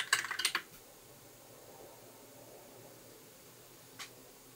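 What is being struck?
Plastic mechanical keyboard keys.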